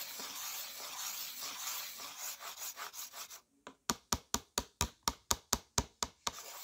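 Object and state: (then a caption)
Slate pencil on a slate writing board. Fingertips hold a white slate pencil and rub and scratch it across a flat, solid, dark slate writing board set in a yellow plastic frame and covered in chalky dust. A continuous bright, gritty scraping runs for about three seconds, then after a brief pause gives way to 11 short, sharp scratch strokes in a steady rhythm.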